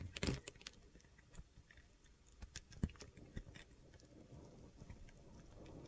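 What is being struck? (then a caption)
Soap bar. A metal utility knife blade shaves crunchy cube chunks off a solid light blue soap bar held in the hand. Soft, irregular crunching cuts and scrapes come with dull low thuds and brief bright crackles. It is quiet and close, with no ringing after each cut.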